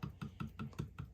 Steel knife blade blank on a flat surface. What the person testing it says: you can hear that it's not touching in the middle